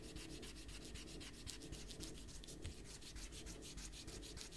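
A small eraser is rubbed back and forth over a pencil drawing on a stack of thin white printer paper sheets on a desk, with one hand holding the paper flat. The result is a steady run of quick, soft, papery scrubbing strokes with a bright, hissy edge over a low rumble.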